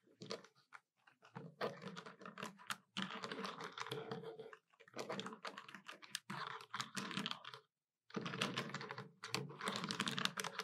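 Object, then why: Plastic desktop calculator. Both hands rapidly tap the keys of a hollow black plastic desktop calculator with long nails, producing dense bursts of sharp, bright clicks over a low hollow knock. The tapping comes in fast runs separated by brief pauses, including a short silence near the eight-second mark.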